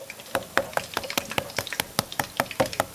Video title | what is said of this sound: PANINO CON POLLO CRISPY SUPER CROCCANTE🍔 -La panatura definitiva per un panino crispy- | è pollo o è una scogliera di Santa Marinella